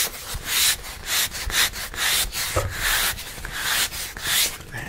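Fingertips and nails rub and scratch across a large, round, thin, rigid plastic charger plate with a wood-grain sunflower print on the front and a black back. Repeated bright, hissy scraping strokes swell and fade in a steady rhythm, with occasional soft low taps between them.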